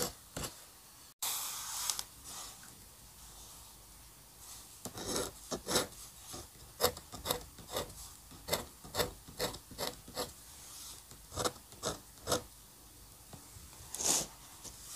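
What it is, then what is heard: Paper drawing sheet. A steel-nib dip pen held in the fingers scratches hatching strokes onto a flat inked paper drawing sheet. At first there is a brief, continuous bright rasp, then a steady series of short, crisp scratching strokes with quick gaps between them. The sound is thin, high and dry, with very little low end.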